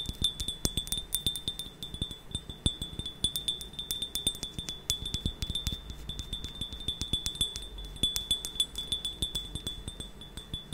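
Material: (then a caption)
Ceramic. A medium-size brown and cream glazed ceramic mug with a handle, hollow and apparently empty, is tapped quickly and repeatedly with long painted nails. Each tap gives a short, bright clink over a steady high ringing tone.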